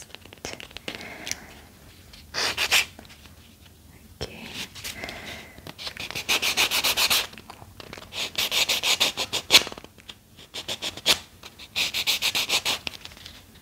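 Fingertips rub and scratch the fibrous surface of a small, round, white cotton pad, soft and solid, held between both hands. Bursts of quick, bright, dry scratching strokes come in uneven clusters, with quieter pauses between them and almost no low end.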